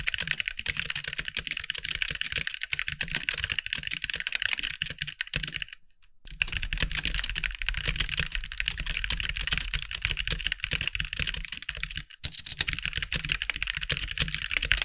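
Fast fingertip typing with both hands on a compact backlit mechanical keyboard with white plastic keycaps gives a dense, steady stream of bright, sharp clacks with very short decay and a faint low thump. The typing breaks off briefly near the six-second mark and again just past twelve seconds, then resumes at the same quick pace.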